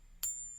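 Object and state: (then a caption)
Copper-nickel coin, not silver. A copper-nickel coin balanced on a fingertip is gently tapped with another coin, giving a single sharp ping. A high, thin, whiny ring sustains and slowly fades, marking the coin as copper-nickel rather than silver.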